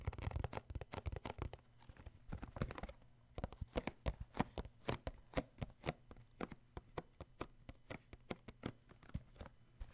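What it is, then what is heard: Cardboard tissue box. Fingertips tap the end and bottom of a cardboard tissue box with embossed white sides. A dense flurry of quick, dull, dry taps in the first few seconds gives way to a steadier run of separate soft knocks, each dying away at once over a faint low hum.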